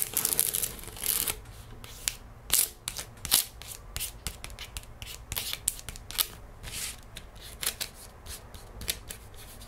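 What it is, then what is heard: Paper gift bag. Long nails tap and trace across the printed surface of an empty paper gift bag lying flat on a wooden table. Crisp, bright ticks and papery scratching strokes come in an uneven stream, some taps sharper and louder than others. Each sound stops almost at once, with a faint low hum underneath.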